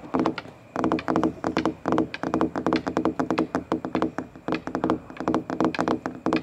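Fingertips with short white-painted nails tap and scratch along the large, glossy, hollow shell of a red molded plastic playground slide. Quick bursts of hollow, knocking taps come in uneven clusters with brief pauses between them. Each tap has a mid-range resonance and dies away almost at once.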